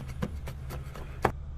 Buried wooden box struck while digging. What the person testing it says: Por el sonido, yo creo que madera. Madera hueca